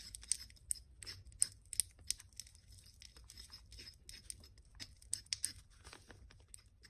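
A porcelain pestle is rubbed and ground in circles against the inner wall of a small white porcelain mortar, partly filled with cream paste and held in one hand. It makes repeated bright, scratchy scraping contacts with sharp high-pitched clicks over a quiet, low background.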